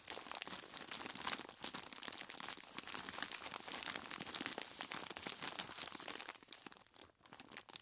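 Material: Plastic, ice.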